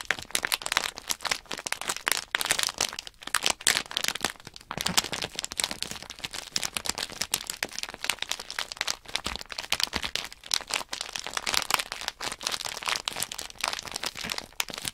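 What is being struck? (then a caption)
Sealed plastic bag of small plastic bricks. A small sealed plastic blister bag from a Nanoblock Synthesizer kit, with a paper label and small plastic bricks inside, is pressed and rubbed under fingertips and long natural nails. A dense, continuous run of bright, crisp plastic crinkles and sharp crackles goes on throughout, with almost no low end.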